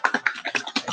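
A bottle of copper patina paint, a paint containing metal flakes, is shaken in about eight quick sloshing strokes, producing bright, wet splashing bursts. The liquid inside sounds thin and runny.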